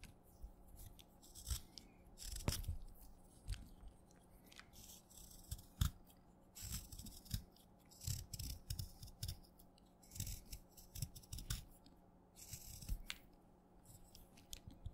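A small, solid wet black chalk stick is held between the fingertips and scraped and cut with a small metal blade in a paint-speckled handle, shaving off crunchy flakes. Quiet, repeated crunchy scrapes and bright crackles come in short bursts with soft low thumps over a faint steady low hum.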